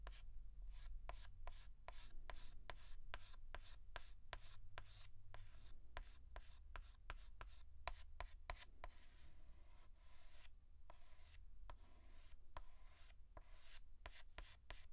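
A white chalk stick is rubbed in short, quick hatching strokes over a large flat blackboard, making a steady run of sharp, scratchy ticks. Each stroke is brief and bright, with a low, constant hum underneath throughout.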